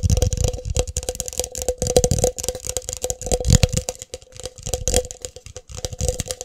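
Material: Plastic.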